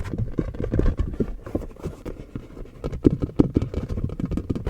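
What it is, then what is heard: Tapped silicone mask. A skin-colored silicone Halloween mask is tapped with quick, irregular fingertip-like taps. The taps are soft, dull and low-pitched, with almost no ring and no high-frequency sparkle.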